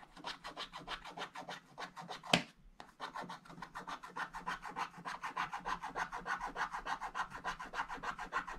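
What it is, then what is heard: Scratch-art paper being scratched. A wooden stick scratches the black wax coating of a scratch-art book page lying flat, first in strokes and then working along the drawing's outline. The result is a steady run of quick, dry rasping strokes, about three per second, mostly in the midrange with some bright edges. Partway through, one sharp, louder click stands out, followed by a brief pause before the scratching resumes.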